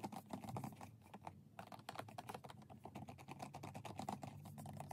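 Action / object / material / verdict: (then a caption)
tap / plastic UV nail lamp / plastic / none. Fingernails tap rapidly on UV nail lamps, making fast, light clicky taps in dense bursts. The taps briefly pause around the middle and then continue at a quick, steady pace.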